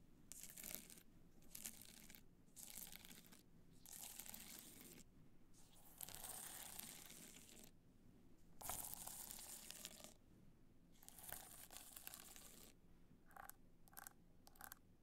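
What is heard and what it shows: A black multicolor rhinestone-covered hard-shell clutch, tilted upright, has its crystal-studded face scratched with long nails. The result is bursts of bright, gritty scratching and crinkly rasping, separated by short pauses. A low hum sits underneath throughout.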